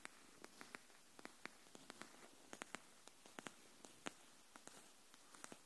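Long nails tap the edge of a pink cardboard hardcover paper notebook held edge-up, making about 20 quiet, sharp, bright clicks at an uneven, unhurried pace. Each tap dies away almost instantly against a faint steady hiss.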